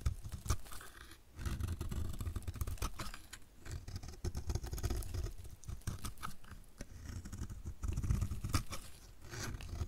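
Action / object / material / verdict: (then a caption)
scrape / soap bar scraped with a blade / soap / none. A utility knife blade scrapes a solid, hand-sized, dry orange-and-white striped soap bar held in the hand, shaving off crumbly pieces. The result is a steady stream of dense, dry scraping and crunching with a heavy low-end body and many short, quick strokes that dip briefly before continuing.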